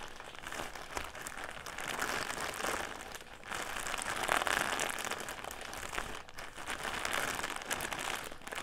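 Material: Plastic.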